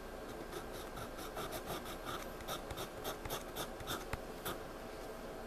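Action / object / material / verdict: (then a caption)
scrape / pencil on a paper sketchpad / paper / none. A pencil shades and scribbles on a spiral-bound paper sketchpad lying flat, scratching and rubbing its lead across the page. The strokes come as soft, bright, uneven rasping bursts over a steady low hiss.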